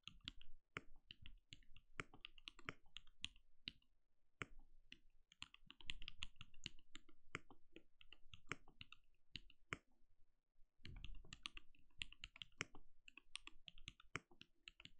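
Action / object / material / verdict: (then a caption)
tap / plastic mechanical keyboard / plastic / none. Rapid key taps on a compact backlit mechanical keyboard with plastic keycaps and a translucent glowing case, typed on with the fingertips of both hands. The sound is a dense stream of short, dry clicks with a soft low thud under each stroke and a bright top, coming in quick bursts separated by brief pauses.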